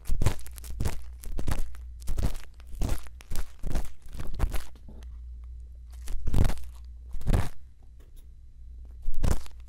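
A thin bamboo earpick scrapes inside the ear canal of a soft silicone ear on a white binaural microphone while the mic is held steady. Close, crunchy scratching and crinkling bursts come in repeated strokes with short pauses, over a steady low hum.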